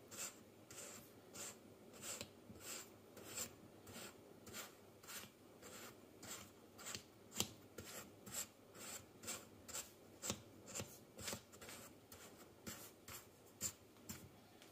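A hand holding a thin wooden stick tool scrapes and cuts through a spread-out pile of solid yellow kinetic sand on a white table, then lifts the tool away. The result is a steady series of short, bright, grainy rasping strokes, about two per second, each fading almost at once over a soft, low, crumbly hiss.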